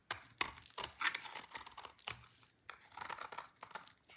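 A utility knife blade shaves a solid, dry red-orange soap bar into many thin shreds. The result is a quick series of dry, crisp scraping and crackling strokes, bright and papery with almost no low end, each stopping sharply with no ring.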